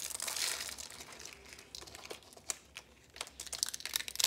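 Fingertips and nails pull apart and crush small red rose shapes made of thin, dry, rolled soap curls resting on yellow paper. A dense, bright crinkling crunch comes first, then thins into scattered sharp, high crackles and snaps, each dying away almost instantly.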